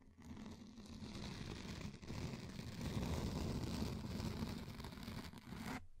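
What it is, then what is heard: Frosted plastic sheet. A thin, flexible, translucent frosted plastic sheet is held in both hands over the mic, bent and scratched with long painted nails. The result is a dense, continuous crinkling, scraping rustle with a heavy low rumble beneath it. It stays steady for about six seconds, briefly dipping near the two-second mark before cutting off.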